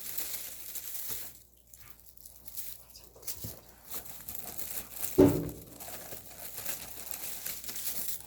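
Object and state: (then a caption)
Thoroughly dried radish greens. Dried radish greens (siraegi) from Yanggu Punchbowl are handled and crumpled by hand. They give off a dry, crisp crackling and rustling, with one louder crunch partway through. The very crisp sound shows the greens are thoroughly dry.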